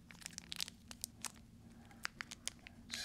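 A full-size KitKat chocolate bar in a red plastic wrapper is held in both hands over a bowl of Halloween candy while fingertips crinkle the wrapper and tear it open. Quick, sharp, bright crackles and snaps pop out one after another over a faint low hum, ending in a louder, sustained rip as the wrapper gives way.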